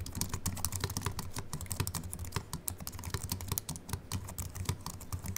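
Both hands type quickly with their fingertips on a slim Apple Mac keyboard with a silver aluminium body and white plastic keys, resting on a wooden desk. A rapid, continuous stream of short, bright, crisp key clicks rides over a steady low hum.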